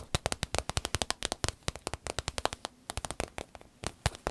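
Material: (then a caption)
Vinyl. Fingernails tap a small, hollow, striped vinyl zip pouch in a quick, uneven run of sharp, dry clicks, each one bright and cut off almost at once. Hands then fold and squeeze the pouch, and the vinyl crinkles.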